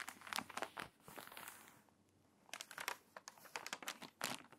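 A page of a crinkly, water-damaged paper magazine is turned, then long nails rub and scratch across its wavy pages. Bright, dry crinkling and scratching bursts fill the first second, fade to a near-quiet lull around two seconds, then return as sharp crackles through the end.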